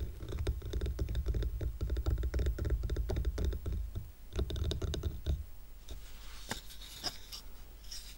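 Fingernails rapidly tap and scratch the top of a stack of square painted wooden coasters tied with twine, producing a dense patter of short, dull knocks with a heavy low thump for about five seconds. The stack is then tilted to show its edges, and the sound drops to quieter, sparser clicks and light, bright scratching.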